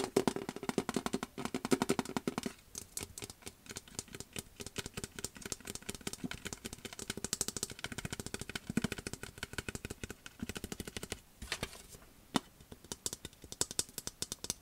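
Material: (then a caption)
Metal. Fingernails tap and scratch fast on a large, hollow, empty metal popcorn bucket printed with Star Wars graphics, held close to the mic. The result is a dense, rapid clatter of sharp taps with a resonant, drumming tin ring around 400 Hz and bright scratchy edges, with a few brief pauses and louder accents.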